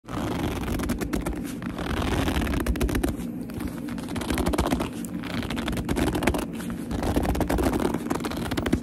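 Fingertips with long almond-shaped nails grip, squeeze and scratch the surface of a small, hollow black leather handbag held up close. The result is a continuous run of dense, rapid scratching and squeaky, rubbing grips, muffled and low-heavy with little brightness, holding a steady level throughout.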